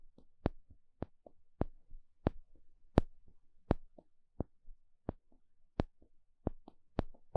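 A small plastic pick pokes and scratches a flat, thin, solid wooden spatula-shaped paddle stick. Twelve sharp, crisp, bright taps land at an uneven pace, about 82 per minute. Between them come quieter, dry scratching and tapping sounds.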